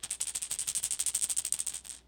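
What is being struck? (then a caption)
Toy rattlesnake puppet tail rattle. The rattle on the end of a toy rattlesnake puppet's tail is shaken so it can be heard. It makes a quiet, fast, steady train of dry, high-pitched hissy clicks for about two seconds before stopping. It is a small, faint rattle, much softer than a real rattlesnake's.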